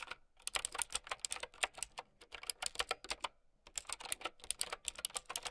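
Long nails and fingertips type on a mint-green typewriter-style mechanical keyboard with round plastic keycaps. A quick run of bright, crisp, short clicks and clacks plays out, with a brief pause a little past the midpoint before the typing resumes.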